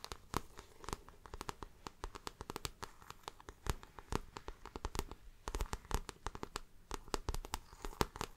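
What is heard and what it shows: Long nails tap and scratch the plastic-coated front panel of a shiny, glossy coated floral handbag with patent trim. The result is a quiet, rapid run of sharp, dry clicks with bright edges, mixed with soft scratchy rasps and crinkling between the taps. Each tap dies away almost instantly.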